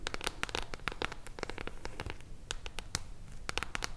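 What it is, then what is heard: Mirror-foil hardcover book. Long blue nails tap and scratch the silver mirror-foil cover of a solid hardcover book held upright. The result is a rapid, uneven series of sharp, dry clicks with bright crackly edges over a low, steady rumble, each tap stopping almost instantly with no ring.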